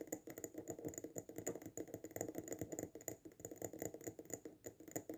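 A small glass jar filled with sand and a fake succulent, resting on a table, is tapped fast on its sides with fingertips and short nails. About thirty quick, clicky taps land in a steady flurry, each short and bright with little ring.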